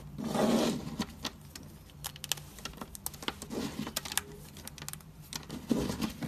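Both hands squeeze and crumble solid, brittle chunks of dried white-cream bar soap coated in soap powder, piled on a white surface. A dense, bright crunching rustle swells at the start and again near the end. In between, many short, sharp crackling snaps sound as the pieces break apart.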